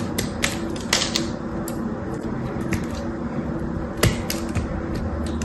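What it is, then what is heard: Bar soap being cut. A knife cuts into a solid, dry blue bar of soap held in one hand and pries chunks away. Sharp, bright clicks and snapping cracks stand out over a steady low rumble, with one louder crack near the end.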